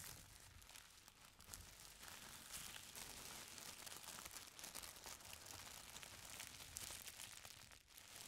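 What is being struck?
Folded stack of thin tissue paper.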